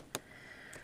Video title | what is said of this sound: Nuvo clear drops vs. Glossy accents | it dries fairly hard. I mean, you can hear me tapping on it there.